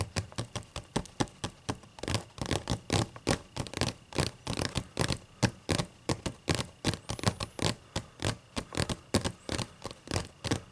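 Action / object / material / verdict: scrape / paper pages of a thick book / paper / none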